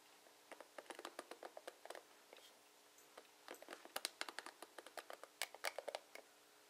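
Long nails and fingertips strum and scratch the bristle tips of a blue plastic paddle hairbrush with plastic bristles. Quick, bright, crackly plucks come in two rapid flurries separated by a short pause. The sound is crisp and dry, with no low end and almost no ring after each stroke.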